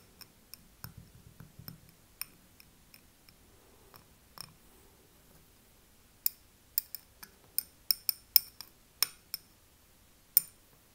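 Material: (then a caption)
Glass. Fingertips and nails tap and scratch the sides of a small glass tealight-style candle jar filled with wax, held in both hands. Faint, soft scratching and light ticks come first, then a run of sharp, bright glassy clinks at uneven intervals, each dying away almost at once.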